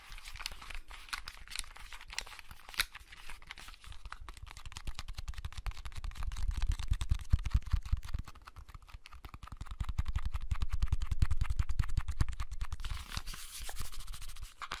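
Fingernails scratch and tap across the shell and buttons of a small, hollow, blue plastic clamshell handheld game console, held closed in both hands. Dense, rapid clicks and dry scratching rattle over a soft low hollow knock, with no ring after each tap. The tapping swells louder in two busier stretches in the middle of the clip, then eases back to lighter scratching.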